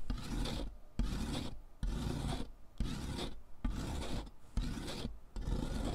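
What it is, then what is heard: Chalk stick grated on metal foot file. A thick, solid pink sidewalk chalk stick, held in fingers with long nails, is rubbed back and forth over the perforated metal surface of a purple plastic-framed foot file lying on cardboard. The result is seven gritty, rasping scrape strokes with short pauses between them, while pink chalk dust falls.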